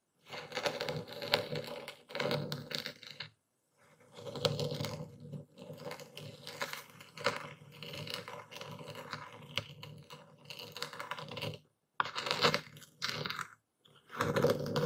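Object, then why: Coarse epsom salt crystals ground with a stone pestle in a wooden bowl. A dark speckled stone pestle grinds and crushes coarse white Epsom salt crystals in a wooden bowl while one hand holds the bowl steady. Dense, gritty crunching and scraping comes in long bursts with brief silent pauses between strokes, with a steady mid-range body and bright, crackly grit on top.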